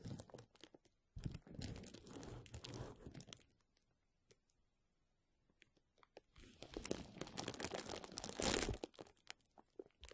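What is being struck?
Plastic bubble wrap sheet.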